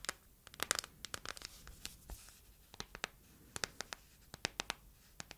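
Long nails tap and scratch the back and edges of an empty matte yellow silicone phone case. About twenty quick, dry, bright clicks come at irregular intervals, mixed with soft scratching against a quiet background.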